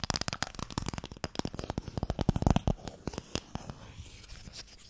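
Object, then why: Small closed wooden box. Fingernails scratch and tap on a small, closed, pale wooden Mikado box, a hollow box that holds sticks. A dense run of short, dry, low-bodied taps and raspy scratches comes through, with sharp clicks reaching high. The activity is busiest in the first three seconds, then thins into softer, quieter scratching.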